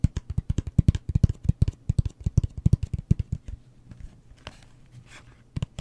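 A closed, hollow cardboard gift box with a wood-grain print, held in the hand, is tapped rapidly with fingertips and nails, giving about thirty quick, dull, low-pitched thuds. After about three and a half seconds the tapping thins to faint scratching with a few scattered taps.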